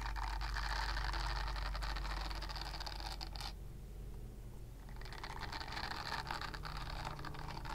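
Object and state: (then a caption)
Silicone body scrubber. A purple silicone body scrubber with nub bristles is scratched with long nails, making a dense, bright scratching rasp over a steady low hum. The scratching stops for about a second and a half midway, then resumes.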